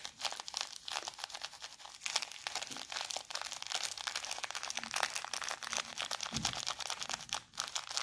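A small clear plastic bag full of coarse bath salt, held in one hand, is brushed over with a soft makeup brush. The result is a dense, steady stream of bright, crisp crinkling and gritty scratching, with rapid strokes and almost no low end.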